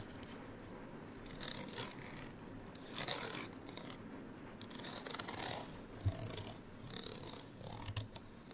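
Long fingernails scratch across a small, flat printed paper card hang tag with a gold string, held in the other hand. The result is quiet, dry, bright rasping in uneven bursts over a steady low background hum, with a few sharper ticks.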